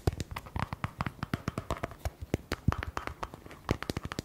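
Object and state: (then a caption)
Plastic cream tub. A small round white plastic cosmetic tub with a screw lid and a paper label, likely hollow or only partly filled, is held in both hands and rapidly tapped and scratched with fingertips and short nails. A quick series of dry, dull taps with a low, hollow body and brief scratchy rasps sounds between them, each dying away almost instantly with no ring.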